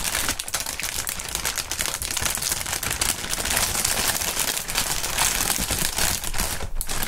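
A medium-sized, clear, inflated plastic air pillow packaging bag with green print, hollow and air-filled, is held, crinkled, squeezed and shaken by hands in fingerless gloves. It produces a dense, continuous stream of bright, crackling plastic crinkles that stays fairly steady in loudness for about seven seconds, with a brief dip near the end.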